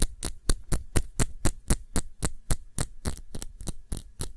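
Fingernails tap the glass base of a small glass perfume bottle filled with blue liquid, cupped in both hands. About eighteen quick, dry taps come at a fairly steady pace with short bright clicks, over a constant low hum.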